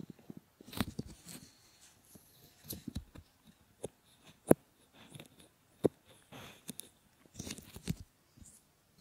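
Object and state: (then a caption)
Silicone ear models being rubbed. Fingertips and short nails rub and cover a pair of solid silicone ear models, making soft, close rubbing, crinkling and muffled scratching sounds. Irregular bursts come and go, with a few sharper taps standing out and no talking.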